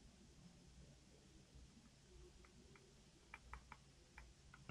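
A small 60% black backlit mechanical keyboard with plastic keycaps and an attached cable sits on a wooden table while fingertips type on it continuously. Soft, quick key clicks run over a low hum, with several sharper, brighter clacks standing out near the end.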